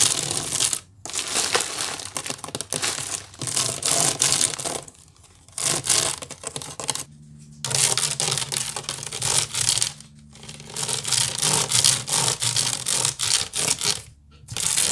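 Long nails scratch the side of a large, hollow woven wicker basket with some items inside at the top. Fast, dry, crackly scratching bursts with bright, hissy texture come in runs separated by brief pauses, over a faint low hum.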